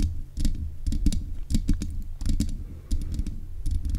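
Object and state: Metal microphone grille being tapped.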